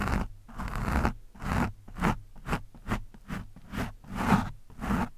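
The thin steel shaft of a screwdriver scratches and pokes at a soft, porous orange foam windscreen on a microphone. Ten rough, crunchy scraping bursts of varying length follow one another, heavy in low rumble with a muffled, close texture and little brightness.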